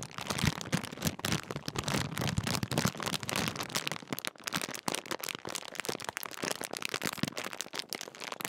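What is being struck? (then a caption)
Metallised plastic crisp packet. The top seal area of a large Walkers crisp bag made of metallised plastic film is crinkled and rubbed between fingertips. Dense, sharp crackling and crinkling runs continuously, bright and broadband, with slightly fuller rustling in the first few seconds.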